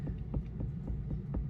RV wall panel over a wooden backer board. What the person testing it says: press in you can hear i'm tapping that backer